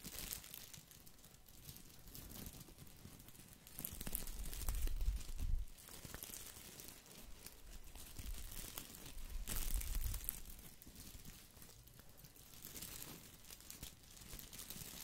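A small green artificial boxwood ball with plastic leaves is held and scratched with fingers, making a dense, crinkly crackle of rustling plastic. The scratching swells louder around four to six seconds and again near ten seconds, then settles back to a steady, softer rustle.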